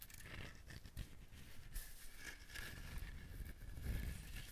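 Fingernails scratch the rough, fibrous surface of a whole dried husked coconut held close to the microphone. The result is a steady, dry crinkling and rasping sound over a low, muffled rumble, with brief louder scrapes and bright hiss throughout.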